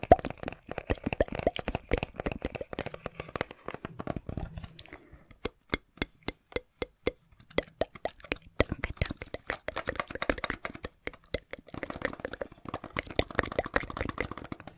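A small, hollow, clear plastic cassette case with a printed Bibi Blocksberg insert is held in the hands and tapped with the fingertips. Rapid, dry, hollow clicks with a plasticky tone around 700 Hz come in dense flurries. A sparser middle stretch has evenly spaced single taps before the quick tapping picks up again.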